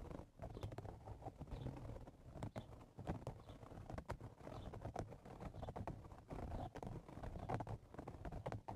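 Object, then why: Woven straw hat. Fingertips and nails of both hands scratch the top of the hollow crown of a woven straw cowboy hat. The result is a steady, dense run of quiet, dry, rapid scratching strokes with a soft low body and short bright ticks, continuing throughout without pause.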